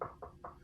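Knuckles knock three times on a wooden surface, a desk or table, as a superstitious knock-on-wood gesture in hopes the coronavirus is not as bad as feared. Each knock is a short, dull, mid-pitched thud around 500 Hz that dies away almost at once, with no bright edge.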